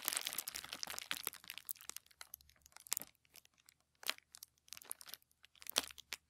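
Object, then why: Tissue paper sheet. A crinkled sheet of thin white tissue paper lies flat on a wooden table while the fingertips of both hands rub and press it. The result is bright, crisp crinkling and crackling, dense at first, then breaking into short separate bursts with quiet gaps between them.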